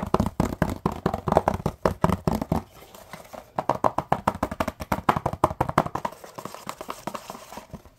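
Fingertips and short nails tap and scratch a small, hollow, printed cardboard box in a rapid run of dry, short taps that die away almost instantly. The first few seconds carry fuller, thumpy hollow taps, then after a brief quieter stretch the taps turn lighter and more papery with a scratchy edge, softening toward the end.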